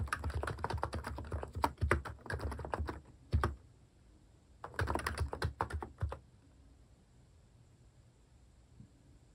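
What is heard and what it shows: Fingertips type on a capacitive keyboard with plastic cat-themed keycaps, giving rapid, uneven, muffled taps with a deep thock and little ring. Typing runs in two bursts, from the start to about 3.5 seconds and from about 4.7 to 6 seconds, with near silence between and after.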